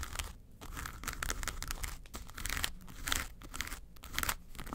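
Long nails scratch the lid and front of a flat, hollow yellow case with a textured faux-leather covering. The result is a dense, crackling scrape in uneven bursts, bright and gritty, over a dull low thump from the hollow body. It swells and fades in several waves across the clip.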